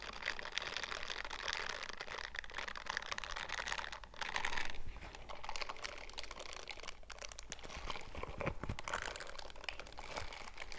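Worn purple silicone scrubber gloves with bristled palms are rubbed and scrubbed against each other close up, the bristle pads and gloved fingers brushing together. A dense, rapid crackling and crinkling scratch runs throughout, swelling into a louder burst of scrubbing around the middle before settling back to steady, fine rustling over a faint low hum.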